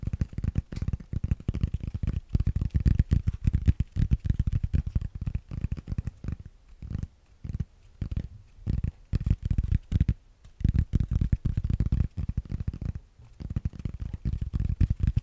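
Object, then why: Foam yoga block. A solid grey foam yoga block is held up and tapped and scratched with fingernails, producing rapid, dull, muffled thuds that sit almost entirely in the low end with no ring. The tapping comes in dense bursts with brief quieter gaps around the middle of the clip before picking back up.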